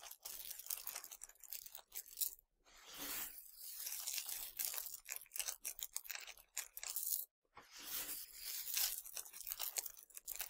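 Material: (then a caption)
Sugar candy. Fingertips scratch and pinch a pile of small, hard, colorful Nerds sugar candies, then hands scoop and pour them. The result is a dense, bright, crackling rattle of tiny grains with almost no low end, broken by two brief silences around 2.5 and 7.3 seconds.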